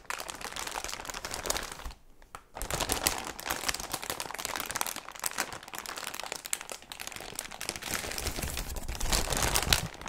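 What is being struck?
Thin clear plastic bag.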